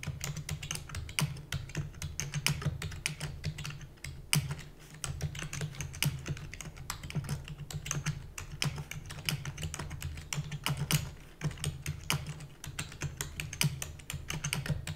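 Rapid typing with fingertips and long natural nails on a full-size black plastic computer keyboard with plastic keys and a hollow housing. Fast, dense, short clicky taps with bright high edges ride over a steady low hum throughout.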